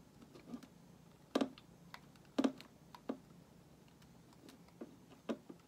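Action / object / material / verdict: scrape / solid bar of soap shaved with a metal blade / soap / none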